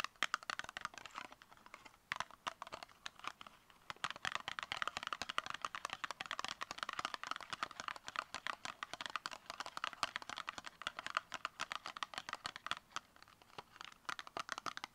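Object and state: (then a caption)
Cardboard makeup box tapped with nails. Long acrylic nails tap quickly on a small, hollow, brown rectangular cardboard makeup box as it is turned in the hands. The result is a dense, continuous stream of dry, crisp clicks and light crinkly scratches with no ring, centered around 2 kHz with bright upper content and almost no low end.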